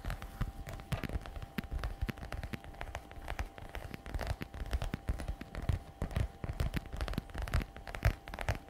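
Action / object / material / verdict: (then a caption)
tap / patent leather messenger bag / patent leather / none. Long red nails tap rapidly and scratch across the shiny flap of a glossy black patent faux leather messenger bag lying flat. The result is a dense run of quick, dry clicks and crackly scrapes with a heavy low thump underneath and a faint steady tone throughout.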